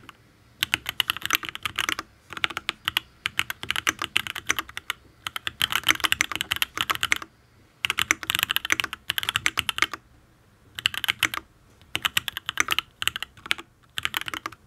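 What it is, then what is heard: Mechanical keyboard, aluminium case with ABS keycaps. Fingertips type on a full-size Matrix ablex penpen custom mechanical keyboard with an aluminium case, ABS keycaps and Tealios V2 linear switches. Bursts of fast, crisp, bright keystrokes clack in quick runs, with very short decay and brief pauses between bursts.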